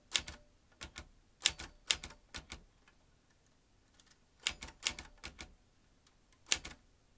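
Fingertips press the round keys of an old manual metal typewriter, driving its metal typebars against the mechanism. Around eighteen sharp, bright clacks come in uneven bursts with short pauses between them, each dying away almost instantly.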